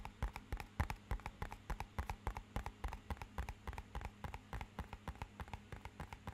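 Fingernails tap rapidly along the face of a small, rigid, matte-black hollow cardboard box. About three dozen quick, dry, hollow knocks come at roughly three per second in a loose, uneven rhythm, like clip-clopping hooves. Each tap dies almost instantly over a quiet, steady low hum.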